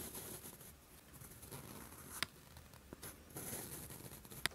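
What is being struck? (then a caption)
Sheet of lined writing paper under a steel pen nib. A steel fountain pen nib scratches along a flat sheet of lined writing paper as it writes, giving a soft, bright, papery scratching that rises and falls in strokes. A few sharp little clicks stand out, the loudest near the middle and at the end, likely as the nib taps or lifts between strokes.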